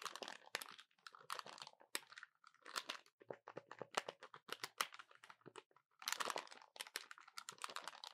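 A small, hollow, dark plastic calculator is held in both hands above a table while its keys are tapped and pressed rapidly with fingertips and short nails. The result is quiet, dry bursts of crisp, bright plastic clicks that stop with almost no ring, separated by brief pauses.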